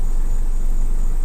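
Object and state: Nothing is struck.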